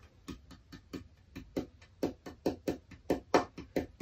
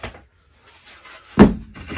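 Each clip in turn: First: spalted hackberry tonewood with a bell-like tap tone. Second: butternut tonewood set, dense and fairly high-pitched tap tone.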